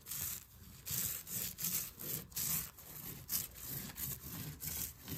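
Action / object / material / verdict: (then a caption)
scrape / quilted fabric wall hanging / fabric / none. Fingertips and nails scratch and rub across a large cream quilted wall hanging with stitched lines, its soft flat fabric resting against a wall. About ten quick, uneven strokes make a bright, raspy hiss with a soft low brush underneath, each rising and fading fast.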